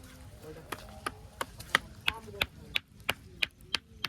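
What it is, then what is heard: Rock knocked at one spot, sounding hollow. A foot knocks repeatedly on one spot of a ringing stone that is hollow underneath, giving a different, hollow-sounding knock. About a dozen short, dry, bright knocks come at a fairly steady pace and die away almost instantly.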